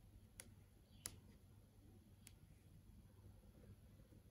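Long acrylic nails tap on the surface of a large LCD flat TV screen showing search results. Three quiet, sharp clicks are heard, spaced apart over a steady low hum.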